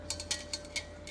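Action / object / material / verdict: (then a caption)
shake / gas regulator safety valve with small steel ball / steel / open. An installed LPG gas regulator is shaken to check its safety valve, and the small steel ball inside rattles with six bright, short clicks. The rattle shows the ball valve is free and open inside, which is normal.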